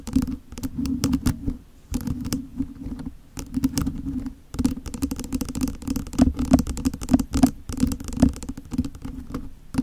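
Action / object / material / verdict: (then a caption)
tap / plastic mini desk fan grille / plastic / none. Long nails tap and scratch the plastic grille of a small hollow plastic mini electric desk fan held over a microphone. Quick, dry clicks and patters come in dense bursts with short pauses between them. The taps carry a low, hollow resonance from the fan's plastic body.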